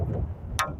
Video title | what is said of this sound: Ultimate Guide to Successful Field Archery | do you hear that little click sound